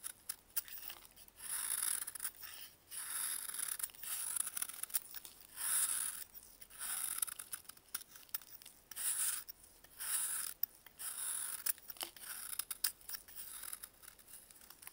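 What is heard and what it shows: A solid dried baking soda block, held in a blue-gloved hand, is shaved with a metal utility blade. Repeated dry, gritty scraping strokes come in bursts of bright, high hiss with almost no low end. Short quiet pauses fall between the strokes.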